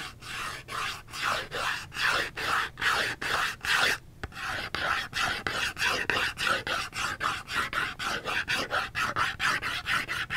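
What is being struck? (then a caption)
Cardboard soap box. Long fingernails scratch a small upright Dove cardboard soap box in quick, steady back-and-forth strokes, each a bright, dry rasp. The strokes pause briefly around the four-second mark, then continue in a slightly faster, even rhythm to the end.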